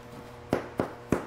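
A baked oval French bread loaf, a batard, is thumped three times on its bottom, giving short, dull, hollow knocks with a low pitch and almost no ring. The hollow sound, along with the loaf's matte look, shows the bread is done, a better check than a thermometer, which is not accurate for this.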